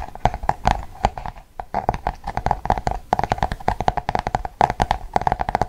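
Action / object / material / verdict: tap / paperback book with glossy cardboard cover / cardboard / none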